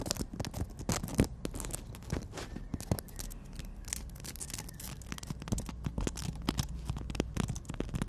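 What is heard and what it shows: Long nails tap rapidly on the surface of a horizontal emery board nail file, producing a dense run of short, dry clicks with bright edges over a low, steady hum. The taps come close together and unevenly, with a few sharper, louder ones standing out.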